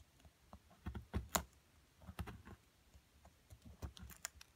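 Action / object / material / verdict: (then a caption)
scrape / plaster block scraped with a wooden stick and metal pick / plaster / none. A wooden stick, then a small metal pick, scrapes and chips at a solid purple-coated plaster block, with crumbs on the table. Quiet, irregular clicks and short scratchy scrapes come in scattered bursts, each with a dull low thump and a few sharp, bright ticks, and die away almost at once.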